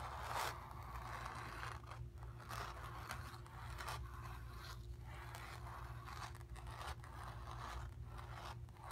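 Long pink nails scratch back and forth across the painted area of a stretched, hollow painted cotton canvas, making dry, raspy scrapes in repeated strokes. A steady low hum sits beneath the scratching throughout.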